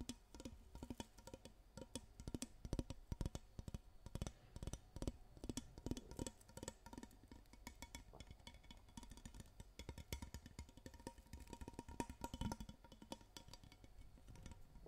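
Fingernails tap and scratch along the ridged handle of a long, clear, transparent plastic hairbrush that looks hollow. Rapid, dry, clicky taps come in uneven bursts over a soft scratching texture. Each tap dies away almost instantly.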